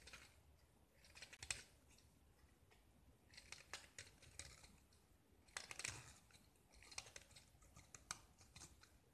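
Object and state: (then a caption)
Gypsum brick scraped with a knife. A small, solid gypsum tile painted with green and white stripes is held in the hand and scraped with a metal utility knife, shaving off chalky curls. The quiet, dry scraping comes in short, bright, crackly bursts with sharp little ticks and almost no ring.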